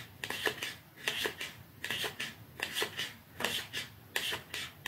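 Fingernails scratch and rub the surface of a small, narrow, dark cardboard mascara box held upright in both hands. The sound is a quiet, dry, bright rasping in a steady rhythm of short bursts, each with a few quick strokes. Each stroke fades almost at once.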